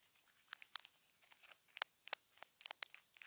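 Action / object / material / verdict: tap / small plastic earphone remote taped to a wooden table / plastic / none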